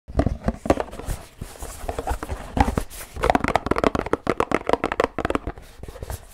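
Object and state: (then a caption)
Paperboard drink carton. Fingertips and fingernails tap fast on a hand-sized, hollow Pilkul drink carton made of printed paperboard with a celebrity design. A rapid, uneven run of short, dull, hollow taps with a papery knock sits in the low-mid range, with faint crinkly edges, and each tap dies away almost at once.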